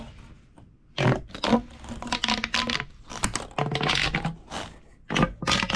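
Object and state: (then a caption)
Plastic pop tube toy. A large, hollow, purple corrugated plastic pop tube toy lies stretched out on a wooden table while hands press and rub along its ridges. Bursts of crackling, ratcheting scrapes rise and fade with quiet gaps between them, carrying a faint low hum and bright, brittle clicks.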